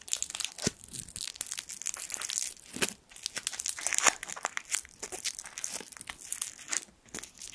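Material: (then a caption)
Metal foil. A small gold foil sweet wrapper is crinkled between the fingertips. It makes a continuous, bright crackling full of sharp, crisp snaps, with almost no low end. The crinkles swell and ease in irregular bursts, with brief pauses near three and seven seconds.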